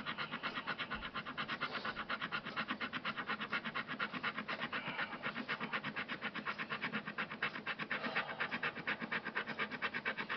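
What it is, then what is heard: Cardboard scratch-off card being scratched. A fingernail scratches the scratch-off coating on the back of a thin, flat, solid printed cardboard Xbox Live game code card lying on a dark glossy surface. Quick, steady back-and-forth strokes make a dry, bright rasping sound, about two per second, with no ring after each stroke.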